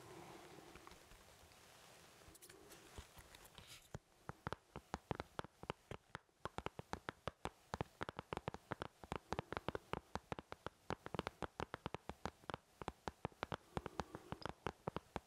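An empty white plastic artist's paint palette, thin and hollow-backed with round wells and a thumb hole, is held up and tapped on its back with the fingertips of both hands. After about four seconds of quiet, soft rustling, a quick, irregular flurry of short, hollow, dry plastic taps begins and continues to the end. A faint steady low hum runs underneath throughout.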